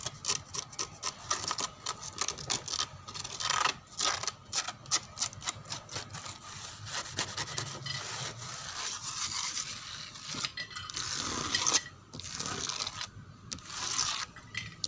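Fingernails scratch and rub the flat panel of a dark brown wooden door near its hinge. Bright, dry rasping strokes come in quick bursts, with a few longer continuous rubs between them. There is little low end, and each stroke stops sharply.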